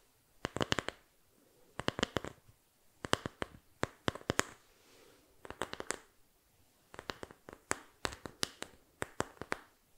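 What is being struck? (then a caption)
Small flat bamboo board. A small, flat, solid bamboo board, held in both hands close to the mic, is tapped and scratched with fingertips and nails. The result is bursts of rapid, sharp, bright clicks that die away almost instantly, separated by brief gaps with faint soft scratching.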